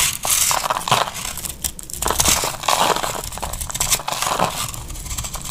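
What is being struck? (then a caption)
Laundry soap bar. A cream-colored, embossed, hand-sized solid bar of dry laundry soap is held in the hand and shaved with a metal utility knife blade. Continuous scraping and cutting produces dense, crisp, crumbly crackles with bright high-end hiss, in overlapping strokes that swell and fade without a break.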